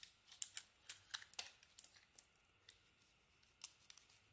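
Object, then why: Bar of soap cut with a small metal blade. A small metal blade carves crumbly chunks off a solid white bar of soap with a pink and gold painted coating, held in the hand. About thirteen quiet, sharp, bright scraping clicks come at an irregular pace, denser at first and thinning out toward the end. Each one is crisp and dry, with almost no low end and no ring.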